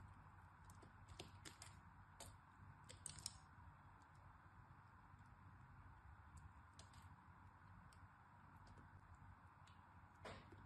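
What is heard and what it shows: A utility knife blade cuts and scrapes flakes from the surface and edges of a hand-sized, solid purple-and-white striped bar of soap held in the hand. Soft, crisp scraping and brief bright clicks sound over a steady low background hum, with a louder snap near the middle and another near the end.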